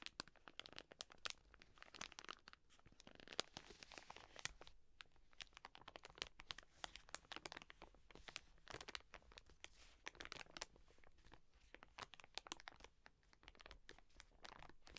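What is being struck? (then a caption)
Soft plastic wet wipes packet. Long nails scratch and crinkle the film of a full, soft plastic wet wipes pack, first held in the hands and then laid on a table. The result is a quiet, steady stream of crisp crinkles, dry scratches and sharp little clicks, bright and papery with very little low end.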